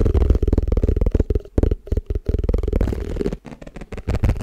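Fingertips and nails tap fast on the flat base of an empty, hollow, round white plastic tupperware food container held against the mic. The rapid taps sound deep and boomy, with a strong low thump and almost no high end. Each tap dies away almost instantly, with brief gaps between bursts.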